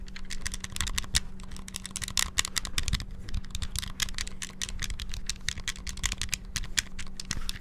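Fingertips rapidly press and tap the D-pad and buttons of a small, hollow, clear transparent plastic Game Boy handheld with a cartridge inserted, held close to the mic. It makes a dense, fast stream of sharp, dry plastic clicks and clacks with bright highs and almost no ring, over a steady low hum.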